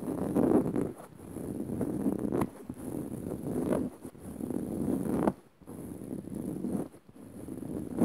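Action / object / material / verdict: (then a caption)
scrape / fabric-upholstered padded cushion / woven fabric / none. Long rounded nails of both hands scratch fast across dark woven fabric on a soft padded cushion. The sound is a dense, soft rustling scratch centered in the low-mids, coming in uneven bursts separated by brief pauses.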